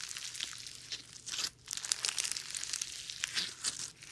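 A small lump of foam ball slime is squeezed by fingers, then stretched into a wide band and twisted. It gives off a dense run of bright, crisp crackling and popping with almost no low end, broken by a brief quiet gap near the middle.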